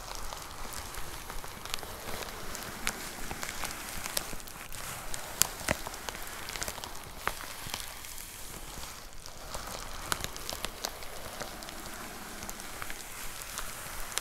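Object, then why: Plastic poly mailer with a box inside. Long nails tap rapidly on a white plastic poly mailer with a box inside. The result is a steady patter of light, crisp, rain-like clicks and crinkles with a bright edge.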